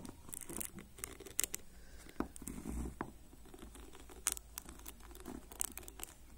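Fingertips and nails of both hands rapidly scratch and flick the ball-tipped plastic pins of a black plastic hairbrush. The result is quiet, dry scratching and pattering with sharp, bright ticks and clicks scattered throughout, over a faint low rumble.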